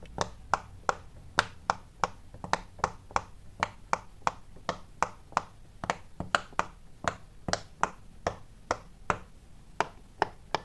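Fingertips quickly press and pop the many small hollow bubbles of a large square rainbow-striped silicone pop-it fidget toy. About 28 short, crisp pops ring out at a fairly steady pace, each a dry snap centered near 1.4 kHz with a bright edge that dies away almost instantly over a faint low background hum.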